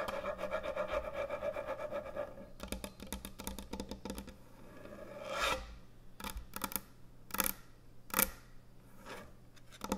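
Long nails tap on the top and front edge of a large, thick, solid wooden end-grain butcher block cutting board. A dense, rasping scratch with a steady mid tone comes first, followed by quick, dry clicks and taps with bright edges. A soft low hum runs underneath throughout.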